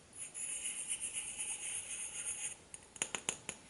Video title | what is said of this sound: 10 Grinch Dollar Tree DIY Ornaments, Gift Boxes & Bags | when they fully dry they'll be hardened to the point that you can scratch them and tap on them like that and hear that glass through there